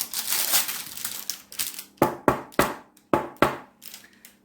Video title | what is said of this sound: BREAD ROLLS - EASY PEASY and scrumptious when eaten warm with butter and cheese | Let me see if you can hear this, because it's hollow. That sounds hollow.